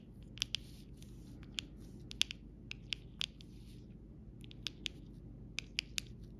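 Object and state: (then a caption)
Plastic rhinestone sticker sheet. A round-tipped dotting tool taps and rubs a flat sheet of rainbow rhinestones and large clear plastic gem stickers on a clear plastic backing. About fourteen short, bright, high-pitched clicks ring out irregularly, with faint scratchy rubbing between them, over a quiet low background hum.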